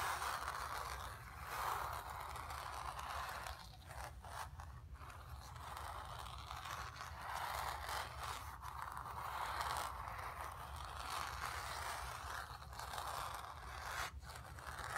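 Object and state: Painted canvas scratched with nails.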